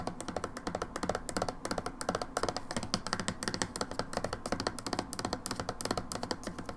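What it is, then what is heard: Plastic hand soap bottle. Long nails tap rapidly on the back of a red-labelled plastic hand wash bottle, producing a steady run of short, dry clicks. Each tap is hollow and plasticky with a bright edge and dies away almost instantly.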